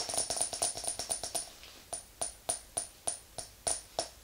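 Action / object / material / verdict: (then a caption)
tap / glass candle jar with metal lid / glass / none. Long acrylic nails tap the glass side and metal lid of a small round glass candle jar filled with white wax, standing on a fluffy rug. Sixteen bright, clicky taps with a short high glassy ring: a quick run of eight in the first second and a half, then a pause and eight slower, evenly spaced taps.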